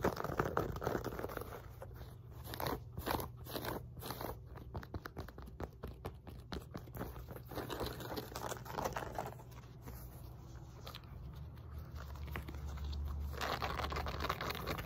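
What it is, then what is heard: Fabric resistance band scratched by nails. Long nails scratch and rub the woven textile surface of a black and pink fabric glute resistance band and handle the band. Rapid, irregular crunchy scratches and scrapes run throughout, with softer rustling stretches between denser bursts over a faint low hum.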